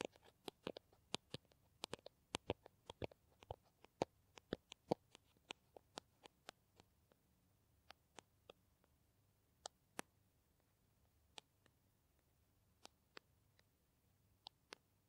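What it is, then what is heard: Plastic hand cream tube tapped with nails. Long nails tap and scratch a small green plastic hand cream tube, making about 35 sharp, dry clicks that stop instantly. The clicks come in quick clusters at first, then spread out with longer pauses. They sit over a faint low hum in a quiet background.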